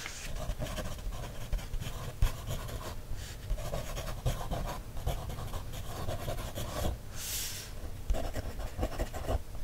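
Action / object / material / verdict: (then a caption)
scrape / paper coloring book page scraped with a thin wooden stick / paper / none. A thin wooden stick traces and scratches along the printed lines of an open paper coloring book page held flat. Dry, scratchy strokes repeat over a low, muffled rumble, with small sharp taps throughout and a brief bright hiss near the end.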